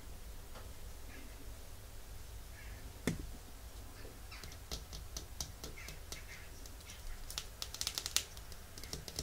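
A small, full, red Essie glass nail polish bottle rests in the palm while long nails tap on its glass and white plastic cap. The result is a scattered series of sharp, bright clicks with quick decay, including one louder tap early on and a denser cluster near the end, over a steady low background hum.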